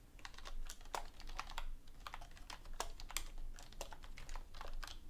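A full-size black plastic computer keyboard resting on a desk, with a book lying untouched beside it, is typed on with both hands using fingertips with long painted nails. Rapid, sharp, bright key taps continue throughout over a steady low background rumble.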